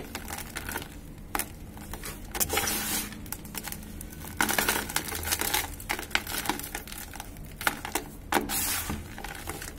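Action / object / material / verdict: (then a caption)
scrape / dry cement powder and lumps in a plastic bucket / cement / none. A hand crumbles a large clump of grey dry cement in a plastic bucket so the powder pours down, then both hands dig and rub through the gritty powder and lumps. Dense, dry crackling and crunching mix with soft hissing rustles, with sharp bright ticks standing out now and then.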